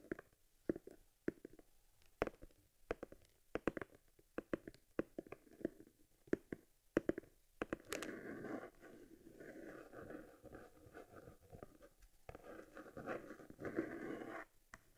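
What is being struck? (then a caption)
Stitched leather camera case. Fingertips and nails tap and rub the flat surface of a small stitched cowhide leather camera case lying on its side, from an Argus C3 unboxing. For the first half, sharp, dry, separate taps sound quickly one after another. After that comes a steadier, softer scratching rub, with a few taps mixed in, before it ends.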